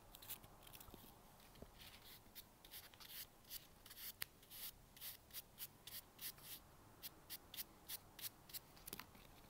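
A single small, light white expanded-polystyrene packing peanut, held in the fingers and laid on a table beside an idle tub of other peanuts, is brushed with a bristle brush. About two dozen short, quiet, bright scratchy strokes follow one another, each dying away almost instantly.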